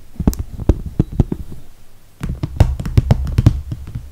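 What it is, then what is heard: Clear PVC toiletry bag. Long red nails tap on the top edge and zipper area of a medium clear soft PVC toiletry bag, which has holographic vinyl handles and is full of makeup. The taps come as a quick, uneven series of short, dull, low thuds with almost no ring. They are sparser and fade in the first half, and after a brief lull near two seconds they return louder and denser.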